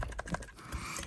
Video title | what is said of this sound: Nikon Z 58mm f/0.95 Noct Review & Sample Images by Ken Rockwell | you hear that clunking what that is is the front optics are actually spring-loaded onto a cam it's not a helicoid